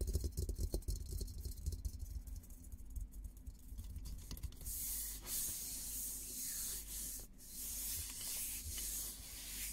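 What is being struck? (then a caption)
Painted steel helmet. Fingertips rub and scratch the painted dome of a hollow, olive-green painted steel military helmet. The first half is dominated by low, boomy rubbing thumps, and the second half turns into a brighter, hissing scratch over a steady low rumble.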